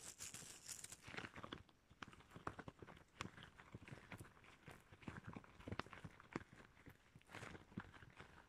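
Shiny red rubber gloves worn on hands are rubbed and pinched together close up, with the gloved fingers squeaking. The result is a quiet, dense run of short rubbery squeaks, sticky snaps and crinkly rubbing that never settles into a steady rhythm.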